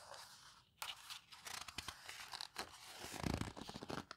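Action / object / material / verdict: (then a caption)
scrape / hardcover paper photo book / paper / none. Hands with long nails turn and squeeze the pages of an open hardcover paper photo book. Crisp, bright rustling and papery crackles come in quick bursts, with a sharp page flip near the start and a denser, fuller crinkling toward the end. The sound is close and dry, with no ringing after each movement.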